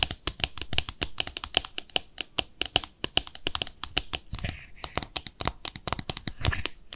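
A small white glossy ceramic soap dish with peg feet is held on its side and tapped and scratched with long nails on its underside and feet. Rapid, bright, dry clicks follow each other with almost no ring, broken by a few softer scratching rasps.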